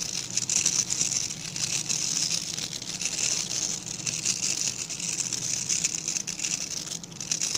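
Fingertips and nails scratch across the tips of a small dark-grey rectangular brush with dense, stiff bristles held in both hands. The result is a steady, bright, hissing rasp that swells and eases in waves, with a faint low hum underneath.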